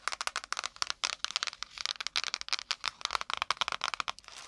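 Long nails and fingertips rapidly tap and scratch the brown kraft cardboard cover and pages of a small spiral-bound notepad, held upright beside and in front of the microphone. The result is a fast, uneven stream of dry, bright clicks and papery scratches with no low end, each tap stopping almost instantly.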